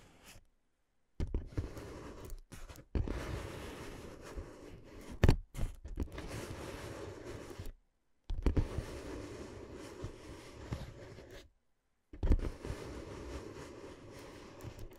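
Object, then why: Inflatable plastic air-column cushion. Long dark-painted nails tap and scratch the top ridges of a clear, hollow, air-filled inflatable plastic air-column cushion curved around the microphone. The result is dense, low, muffled crinkly scratching in bursts of a few seconds each, broken by brief silences and punctuated by occasional sharper taps.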